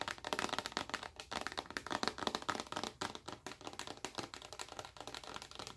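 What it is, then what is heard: Plastic lotion bottle. Long acrylic nails tap rapidly on a large, clear, rigid plastic lotion bottle full of white lotion. The result is a dense stream of short, crisp clicks with a bright edge, little low end and almost no ring.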